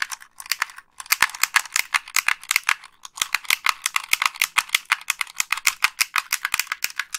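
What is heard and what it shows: Long pink acrylic nails press the buttons and tap the shell of a hollow, hand-sized white plastic Xbox 360 gamepad held in both hands. A rapid run of sharp, bright plastic clicks sounds, with short pauses near one and three seconds. The clicks are dry and die away almost instantly, with no low end.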